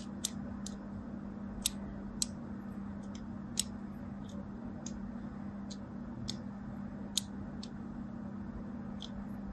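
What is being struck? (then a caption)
Bar of soap. A craft blade scores lines across the surface of a solid, palm-sized, white and teal striped bar of soap held in the hand, with a second soap sitting idle nearby. Each stroke makes a short, crisp, bright scratching click that dies away almost at once, repeated irregularly over a steady low hum.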